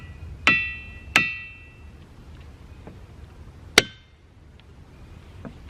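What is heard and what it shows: Boulders in the boulder field at Ringing Rocks County Park in Upper Black Eddy, Pennsylvania, are struck with a hammer three times. Each strike gives a bright, clanging, bell-like ring centered around 2 kHz that decays quickly, with faint ticks and low background noise between the hits.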